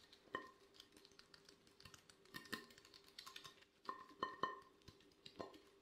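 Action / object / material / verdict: tap / glazed ceramic plate / ceramic / none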